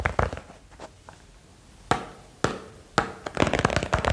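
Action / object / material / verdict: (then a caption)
tap / small box / unknown / none. A small box is tapped quickly for ASMR, giving short, dry broadband taps with almost no ring. A few taps open the clip, then come sparser single taps. A dense, rapid flurry of tapping closes it.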